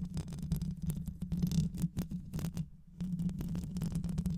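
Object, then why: Metal mesh microphone grille scratched with nails. Long white acrylic nails scratch and tap the rounded metal mesh grille of a black microphone with a hollow head. The sound is a dense, rapid stream of muffled, rumbling scrapes and soft clicks centered low, around 150 Hz, with a brief quiet gap near the end before the scratching resumes.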